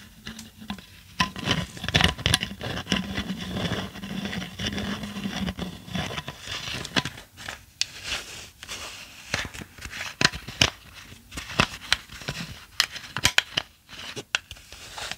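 Long acrylic nails tap and scratch a hollow, clear tinted plastic bottle and its cap, held in the hand. Sharp, bright clicks and taps land irregularly over a dry, scratchy patter. A low hum runs beneath the first six seconds.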